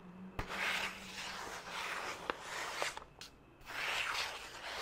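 Fingertips and nails scratch and rub across the surface of a single white printer-paper sheet held upright, making a bright, papery rasping hiss in repeated swells. Three sharp clicks stand out within the scratching, and there is a brief quieter pause near the end before the rubbing picks up again.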